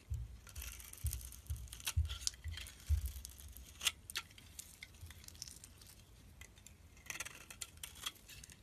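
A metal utility blade scrapes and shaves thin curls off a solid cream-colored soap bar held in the fingers, with the shavings piling up around it. Quiet, irregular scraping strokes make a bright, crisp hiss over soft low thumps. A few sharper cuts stand out before the shaving trails off into lighter scratches.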